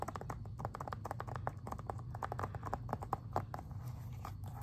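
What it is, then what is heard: Plastic video game case. Fingernails tap rapidly on the back and then the front of a plastic Xbox 360 video game case. The result is a dense run of quick, dry clicks with a hollow, plasticky tone around 800 Hz, each dying away almost at once over a steady low hum.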